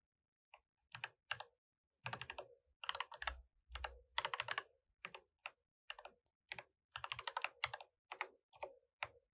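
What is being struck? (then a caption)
Mechanical keyboard with plastic keycaps. Both hands type with their fingertips on a mechanical keyboard with plastic keycaps. Quick bursts of bright, clacky key presses come in irregular runs separated by short pauses, each click dying away almost instantly with little low end.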